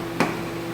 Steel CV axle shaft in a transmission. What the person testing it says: see it go all the way through it bottom out you hear that solid sound